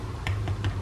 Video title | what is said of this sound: AIR FRYER COSORI TURBOBLAZE 6L : JE FAIS 3 RECETTES RAPIDE AVEC | je ne sais pas si vous entendez, il est bien croustillant